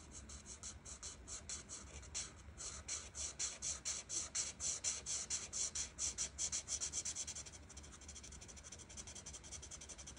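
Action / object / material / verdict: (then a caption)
scrape / felt-tip marker rubbed on a paper sheet / paper / none. A white marker's felt tip is rubbed in short, quick strokes over a thin printed paper coloring sheet lying flat on a table, by a hand with long red nails. Each stroke makes a soft, bright, scratchy rasp, repeating at about two strokes per second. The strokes grow louder in the middle and then turn fainter and quicker toward the end.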